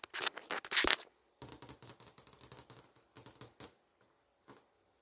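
Long nail tips tap and trace across a flat, solid glass touchscreen showing the HBO GO menu, moving along the top menu and posters. A loud, bright scratchy burst of tracing opens the clip, followed by a run of quieter, crisp clicking taps with almost no low end, then a pause and a few final light taps.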